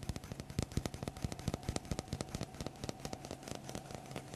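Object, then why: Small wooden block tapped and scratched with fingertips. A small, solid, light wooden block held in the hands close to the microphone is tapped and scratched with fingertips and nails. The result is a rapid, irregular run of short, dry knocks and clicks with almost no ring, heavy in the low end over a faint steady low hum and light scratchy texture.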